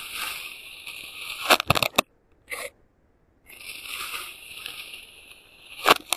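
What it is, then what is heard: Kinetic sand being cut. A clear plastic serrated knife, held by hand, slices repeatedly through a flattened patch of pink kinetic sand that is solid and ridged from earlier cuts. The sound is a soft, bright, crackly scraping with a cluster of sharp crunchy clicks and a brief pause before the grainy rasp resumes. It ends with another crisp crunch.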